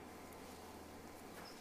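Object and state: Nothing is struck.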